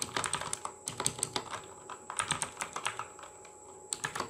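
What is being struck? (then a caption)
Plastic mechanical keyboard. Fingertips of both hands type rapidly on the plastic keycaps of a full-size RGB mechanical gaming keyboard. About twenty-two sharp, bright clacks come in quick, uneven bursts with a brief lull near the end, each dying away almost instantly over a faint steady high whine.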